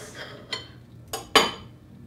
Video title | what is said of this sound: Hamilton Beach Breakfast Sandwich Maker Review | you can hear how crispy and toasted it is